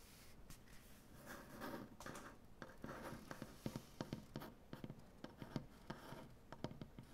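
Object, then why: Wooden butcher-block tabletop. One hand scratches and taps its fingernails on a large, solid wooden butcher-block tabletop. Soft, low, papery scratching gives way to a run of sharp, dry nail taps that die away almost instantly, all at a quiet level.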